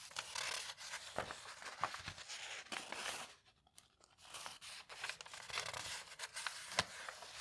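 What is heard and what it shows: Fingertips and nails rub and smooth a full-page advert on the aged paper pages of a large, thick hardcover bound volume of a vintage magazine lying open, then lift a page corner to turn it. Soft, bright crinkling and scratchy rubbing with sharp papery crackles pauses briefly near the middle before resuming. The sound is dry, with almost no low end.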